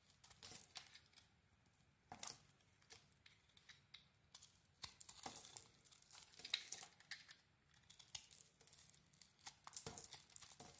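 A metal blade carves thick curls off a hand-sized, solid gold-glitter cream bar of soap. The sound is a quiet series of crisp, bright scraping and crackling strokes, each a short rasp with a slightly longer shave in between, and almost no low end.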